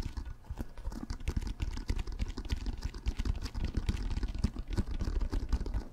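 Fingertips scratch and tap the textured surface of a brown pebbled leather or composite American football, hollow and inflated, held close to the mic. A rapid, steady stream of short, dull taps and soft scratches runs throughout, each hit dying away almost at once. The sound is dominated by a low, hollow thump with very little brightness.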